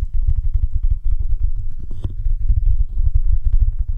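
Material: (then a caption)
Silicone. Fingertips tap and scratch the sides of a glowing, dumpling-shaped soft silicone night lamp, hand-sized and hollow, held over the mic with both hands. The result is a dense, steady run of deep, muffled thumps and low rumbling, with a brief brighter scratch near the middle.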